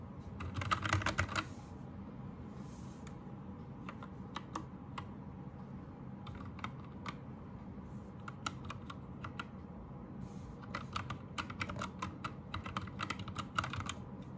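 Both hands type with their fingertips on a white 60% Anne Pro 2 mechanical keyboard with Gateron red switches, plastic keycaps and RGB backlight. A quick, dense burst of clacky keystrokes opens the clip, then irregular, spaced-out taps follow before the typing picks up again toward the end. Each short, bright click dies away almost at once over a steady low background rumble.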